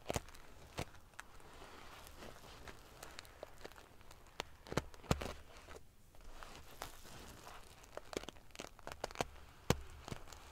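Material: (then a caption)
Metal sequins. Fingernails scratch and ruffle a large padded pillow covered in rows of silver metal sequins. The result is a soft, continuous crinkling rustle broken by scattered sharp, bright clicks and crackles at irregular intervals, over a faint low hum.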